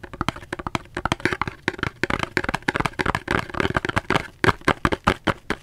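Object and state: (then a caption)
Cardboard soap box. Fingers tap rapidly on a cardboard soap box, producing a quick, irregular series of short, dry taps with almost no ring. Each tap is a hollow, papery knock centered in the midrange with some bright crackle, and the quieter, softer taps in between blur together.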